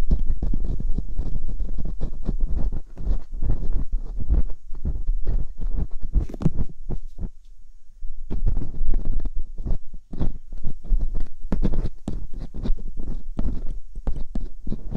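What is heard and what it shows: Metal dental picks scratch inside the silicone ear canals of a binaural microphone, making dense, close, rumbling scrapes and rapid clicky taps that are heavy in the low end. A short quieter pause comes around the middle before the busy scratching resumes.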